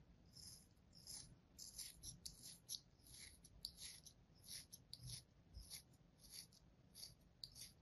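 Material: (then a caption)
Kinetic sand. A thin metal blade scores a crosshatch into a palm-sized solid slab of kinetic sand resting on an open hand. Quiet, bright, gritty scraping strokes come in an irregular series of short cuts, each with a soft low thump and almost no ring.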